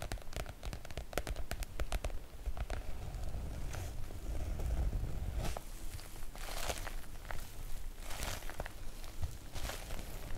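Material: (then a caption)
PVC-coated fabric. Long nails on both hands tap and scratch the glossy surface of a floral PVC-coated oilcloth make-up bag. Quick, uneven taps and crackly, rustling scratches come in close bursts over a low, dull rumble, with bright clicks at each nail strike.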